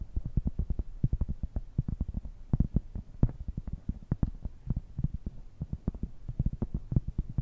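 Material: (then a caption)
Cork. Long red-painted nails tap and scratch a large, round, flat, solid cork coaster held up in both hands. The result is a rapid, steady stream of soft, dull, low thuds with faint scratchy texture, each one short and muffled with almost no ring or bright edge.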